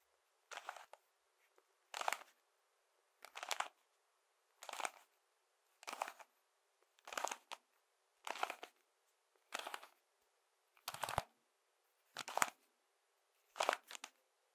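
A hand-sized puzzle cube built from colored plastic toy bricks, hollow with moving parts, is held in one hand and rotated and clicked with the fingertips. Eleven evenly spaced short bursts of quiet, dry clattering clicks sound, each burst a quick cluster of a few clicks. The sound is bright and papery with almost no low end and no ring after each burst.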